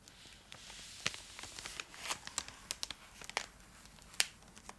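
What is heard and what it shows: Long acrylic nails scratch a full, large purple Cadbury Dairy Milk chocolate block in its foil-lined plastic wrapper, held beside the face. Around fifteen sharp, bright crinkles and crackles rise over a soft, hissy rustle, each snapping off almost instantly.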